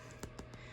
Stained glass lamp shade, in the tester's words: I know it sounds like plastic, but this is all stained glass, and it's all welded in and melted in together.